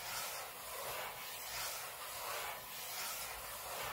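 Short fingernails on both hands scratch the aluminium lid of a closed space-grey MacBook lying flat on a table, close up. The sound is a steady, quiet, hissy scratching concentrated in the upper frequencies, swelling and easing gently in a loose rhythm as the strokes repeat.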